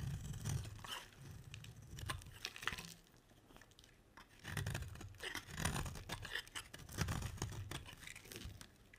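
A metal utility blade carves a solid, dry, round red striped soap bar, shaving off curls that break away. The sound is dense crunchy scraping and crackling with bright, papery tearing edges over a soft low thump, in bursts separated by a quieter stretch midway.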